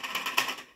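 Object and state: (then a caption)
LED batten tube light with a loose part inside. A new plastic-bodied Polycab 4-foot smart LED batten tube light, with dimming and colour changing, is shaken and gives off a quick series of bright, clicky plastic rattles that fade out within a second. The rattle is a fault: the internal LED strip is bent and coming loose from its channel.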